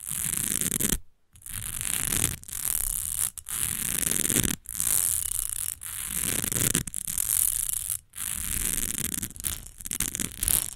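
Long nails fast-scratch and tap the front and edges of an upright, partly filled rectangular textured glass perfume bottle. A dense, bright scraping hiss runs in steady bursts, broken by short silent gaps, with a low rumble of tapping underneath.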